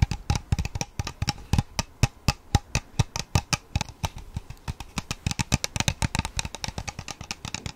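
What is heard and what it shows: A large, clear, empty plastic water bottle with a white plastic sport cap and a purple label is held in both hands and tapped and scratched along its sides with fingertips and pink-painted nails. Many quick, hollow taps sound with short bright clicks and a dull low body, interspersed with light scratching.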